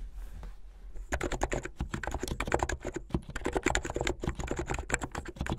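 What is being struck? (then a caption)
Plastic mechanical keyboard keys. Fingertips with long painted nails type fast on a full-size plastic mechanical keyboard with white and blue hollow plastic keycaps on switches and a blue backlit case. After about a second of near silence, a dense run of quick, sharp clacks begins, with a bright click over a thumpy low end. The clatter continues steadily until the end.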